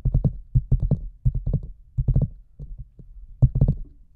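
Heard from a microphone inside a large hollow red rubber boot, a hand taps the top opening and then fingers tap the sides. The result is a quick run of short, deep, hollow thumps that land in loose clusters with almost no ring.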